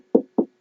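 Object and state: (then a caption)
Hollow pumpkin. Three knocks on a whole, uncut pumpkin produce short, hollow-sounding thuds. Each knock has a dull low-mid tone that dies away quickly. The pumpkin sounds hollow because its inside is open space holding seeds and stringy pulp.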